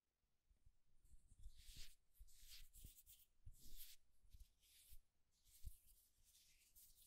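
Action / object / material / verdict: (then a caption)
scrape / turned wooden egg / wood / none. Fingertips rub and lightly scratch the smooth surface of a solid, palm-sized turned wooden egg. Quiet, bright scratchy swishes come in uneven bursts over soft, low thuds of contact. There is no ring after each stroke.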